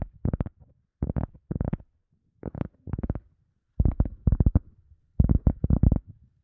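An EVA foam sponge is tapped again in quick bursts of soft, dull thuds. The taps are low and muffled, with almost no bright high end, and each one dies away almost at once.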